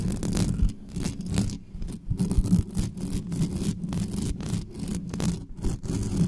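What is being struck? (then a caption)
Metal mesh microphone grille. Long nails scratch quickly across the top and sides of the hollow metal mesh grille of a black condenser microphone. The result is a dense, rough scraping dominated by low rumbling thuds, with bursts of bright hiss that come and go.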